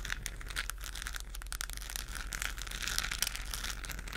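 Long nails scratch over a hollow, textured plastic galaxy moon lamp, a globe lit with a galaxy pattern and held in both hands. The result is a dense, continuous crinkly scratching with bright, high rasping streaks, over a steady low hum.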